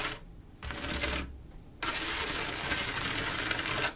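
Long acrylic nails trace and scratch across a flat panel of silver mirror-glass mosaic tiles with grout, making bright, gritty scraping. Three bursts of scratching are heard: a short one at the start, a second from about 0.6 to 1.3 seconds, and a longer steady stretch from about 1.8 to 3.9 seconds, separated by quiet gaps.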